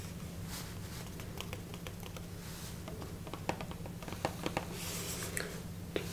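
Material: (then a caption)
Cardboard. A small rectangular Tazo tea box made of printed cardboard, hollow and likely holding tea bags, is held in one hand and tapped and scratched with fingertips and nails. Short, dry clicks and taps stand out over a soft, steady scratching rustle. A low hum runs underneath throughout.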